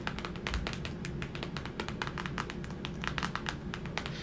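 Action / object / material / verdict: tap / paperback book / paper / none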